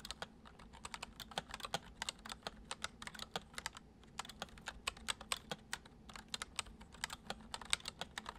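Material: Plastic.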